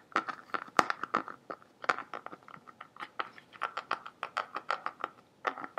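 Fingertips and nails tap and scratch the surface of a large, clear, green-tinted hollow plastic bottle, partly filled with water, held in both hands and tilted. A quick, irregular series of crisp, dry taps and scrapes is heard, each with a faint hollow ring near 1.2 kHz and almost no low end.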